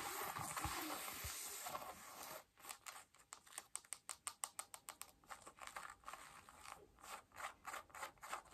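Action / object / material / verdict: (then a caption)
scrape / denim jeans fabric / denim / none. Long nails scratch blue denim jeans on the thigh and waist, starting with a steady, bright rubbing rustle of the fabric. It then breaks into a quick, somewhat uneven run of short, crisp scratch strokes, about three per second, each one dry, with almost no ring.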